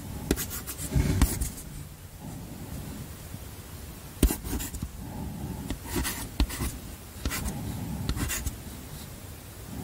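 White chalk is written across a small wooden-framed chalkboard held up close, spelling out "Hi Thanks." Scratchy, scraping chalk strokes come in bursts, with sharp taps and bright ticks as the chalk strikes and lifts from the board, between quieter rubbing passages.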